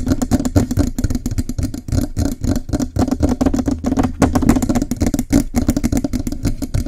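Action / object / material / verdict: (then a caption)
tap / metal microphone body / metal / none. Both hands hold the lower body of a Blue Yeti microphone, a hollow metal body under a foam cover, and rapidly tap and scratch it with fingertips and nails. The result is a dense, continuous clatter of quick, short taps and scrapes. A resonant low tone sits under bright, crackly scratching throughout.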